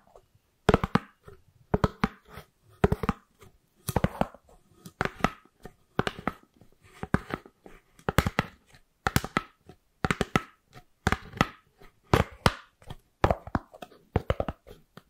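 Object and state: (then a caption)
Styrofoam lid. A white round styrofoam lid with a ribbed underside, held beside the microphone, is scratched and tapped with long acrylic nails. Quick clusters of dry, clicky taps and scratchy squeaks come in bursts about once a second, each dying away almost instantly with no ring.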